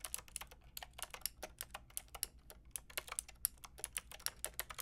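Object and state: Plastic mechanical keyboard being typed on.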